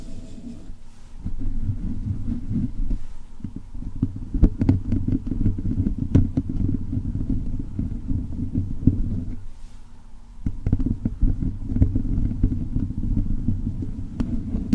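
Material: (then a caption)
Metal. Fingertips and nails of both hands scratch and rub directly on the hollow metal mesh grille head of a blue USB condenser microphone. The result is a dense, boomy low rumble scattered with sharp crackling scrapes and clicks, with a brief quieter lull near the end before the rubbing picks up again.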